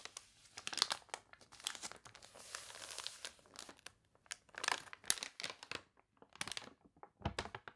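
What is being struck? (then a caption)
Paper catalog pages. The wavy pages of a water-warped paper toy catalog are turned and rubbed with long nails. The result is dry, bright crinkling and crunching in short bursts with brief quiet gaps, plus a longer rustling swell near the middle.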